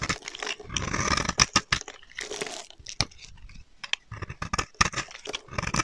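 A solid oval red soap bar held in the hand is scraped and cut with a utility knife blade, shaving dry orange-red curls off its surface. The clip is a close series of bright, crunchy scrapes and sharp crisp cuts that snap off quickly between quieter rasping passes.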